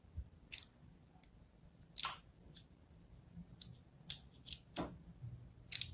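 A thin blade scores a crosshatch into the surface of a solid pink and white striped soap bar held in the hand. Short, bright, crisp scratching strokes sound one after another over a quiet, low background rumble, each fading almost at once.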